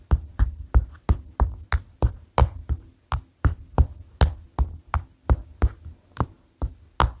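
A flat white paper notepad, a solid stack of paper lying on a table, is tapped rhythmically with the tips of white plastic sticks held in both hands. About 20 short, dull, low thuds follow one another at roughly three per second in a loose, uneven rhythm, each dying away almost at once.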